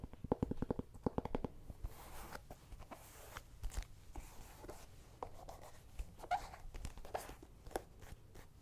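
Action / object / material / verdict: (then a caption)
tap / small whole pumpkin / pumpkin rind / none. A small, whole, hollow orange pumpkin is held in the hand and tapped with fingertips and nails on its skin and stem. A quick burst of dry, hollow knocks with a low tone opens the clip, followed by sparser, softer taps and light scratchy brushing. The sound is quiet, close and mostly low, with very little high end.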